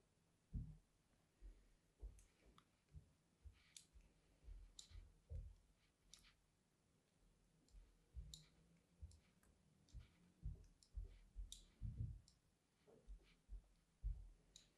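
A small blade cuts diagonal grooves across the face of a solid, cream-white, embossed, palm-sized bar of soap held in the hand, while other bars rest untouched nearby. About fourteen quiet, crisp scraping clicks come at an uneven pace, each short and dry with little ring, and mostly low in tone with faint bright edges.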